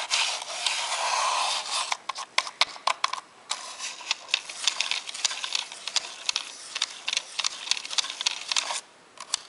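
A white plastic brush rubs and scratches across the face and buttons of a grey, hollow, hand-sized plastic Sega Dreamcast controller held in one hand. A bright, dry scraping wash fills the first two seconds, then breaks into many quick, sharp scratches and clicks with brief quiet gaps between them. There is almost no low end.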